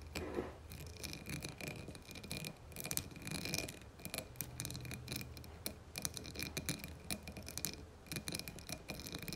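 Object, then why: Embossed glass candle jar filled with wax. Long fingernails on both hands scratch and click over the embossed surface of a dark blue glass candle jar filled with wax. The result is a dense, steady stream of dry, crackly scraping broken by sharp, bright ticks that stop dead with no ring.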